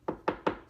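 Three knocks on a drywall wall over a wooden stud, each a short, dull thunk with its energy in the low mids and quick decay. The wall sounds solid at this spot, unlike the hollow open space between studs.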